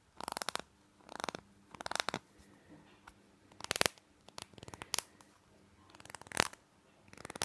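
Fingernails tap and scratch the sides of a small, hollow white plastic nasal spray bottle with a green label, held in the hand. Quick bursts of dry, bright crackling and clicking come in separated clusters with short pauses between them. The sound is quiet, with almost no low end and no lingering ring.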